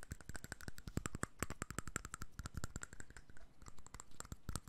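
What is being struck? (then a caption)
Small glass bottle with cap. A small clear glass perfume bottle with a cap is held in one hand and tapped with the fingertips and nails of the other. Rapid, irregular taps produce quick, dry clicks with bright ticks over soft low thumps, each dying away almost instantly without ringing.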